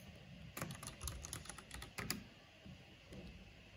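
Fingertips and long nails type on a black plastic mechanical keyboard with a purple backlight, tapping the keys. A quick run of sharp, bright clacks with soft low thuds underneath crowds together in the first half, then thins to a few scattered taps. Each keystroke dies away almost at once.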